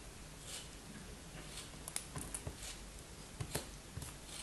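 A hand with long white-tipped nails holds a solid, hand-sized molded block of red kinetic sand while a thin black knife blade slices and scrapes through it. A quiet, steady gritty hiss runs throughout, broken by several crisp, short crunchy ticks as the blade cuts, over a faint low rumble.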